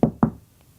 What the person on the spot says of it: it's thin wood it resonates then would resonate thick wood not so much